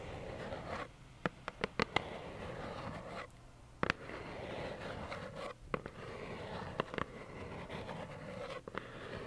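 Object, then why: Cardboard tissue box. Long nails scratch and tap a small, hollow plaid cardboard tissue box held close, giving a steady, soft, papery scratching texture. Brief quiet pauses and short, sharp taps with a bright click break up the scratching.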